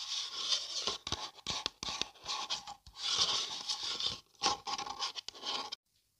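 A hollow printed paper coffee cup is held and turned in the hands while long dark nails scratch along its side. Bright, hissy scratching comes in bursts, broken by sharp little clicks and soft knocks against the paper. It stops abruptly into silence near the end.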